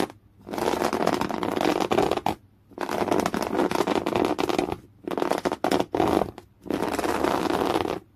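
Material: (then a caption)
Cotton canvas. Fingernails scratch and drag across thick, coarse beige woven cotton canvas cloth while fingers bunch and ripple the fabric. A dense, raspy scratching texture with a gritty midrange body comes in several sustained bursts separated by brief silent pauses.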